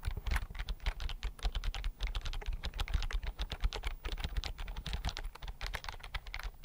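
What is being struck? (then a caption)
Plastic computer keyboard. Fingertips type steadily on the keys of a slim white plastic computer keyboard held upright and flat in front of the microphone. The result is a fast, continuous run of short clicks and taps, each with a soft low thud and a bright, crisp tick that dies away quickly.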